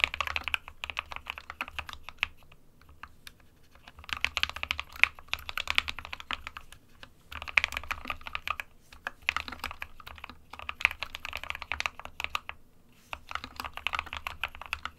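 Fingertips of both hands type on an SK61 compact 60% plastic mechanical keyboard with white and grey keycaps. Rapid, bright, short clicks and clacks come in bursts of steady typing, with brief pauses near 3, 7, 9 and 13 seconds. A faint low hum runs underneath.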